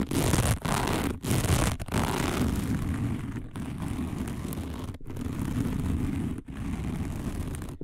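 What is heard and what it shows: Long nails of both hands scratch fast across a round, dark, coiled woven fiber placemat that is flat and thin. The result is a dense, rough, low-heavy scratching roar that runs almost continuously, broken by a few brief pauses, loudest at the start and easing slightly later on.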